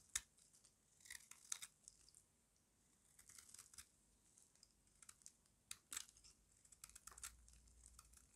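A small metal blade with a yellow handle carves the edge of a solid rectangular bar of dry white soap held in the hand. It makes quiet, dry, crunchy scraping and crackling sounds that come in short bright bursts with pauses between them. Each cut ends almost instantly.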